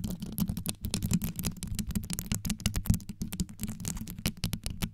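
Long yellow nails scratch fast around the rhinestone-covered grille of a black condenser microphone. A dense run of quick, close-up scratching and clicking, mostly deep and thumpy with bright sparkly edges on each stroke, and the strokes blur together too quickly to count.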